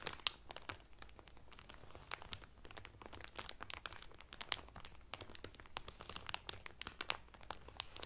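Fingertips and medium painted nails press and crinkle the loose, thin clear cellophane wrap sealing a folded blue terry Carnival towel lying flat on a table. A quiet, continuous stream of bright, crisp crackles is broken by sharper snapping pops, each dying away instantly.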